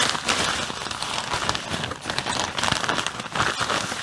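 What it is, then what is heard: Plastic bag filled with artificial snow. Fingers press, squeeze and crinkle a clear plastic bag full of white artificial snow. A dense, steady crinkling and crackling runs throughout, bright and sharp with very little low end. Small swells in loudness follow each squeeze.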